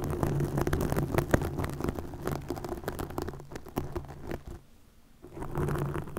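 Long nails scratch and flutter over a green plastic mesh net stretched over a microphone, making a dense, close, low-heavy rustling and crackling. The scratching drops to near silence for about half a second before resuming just as full.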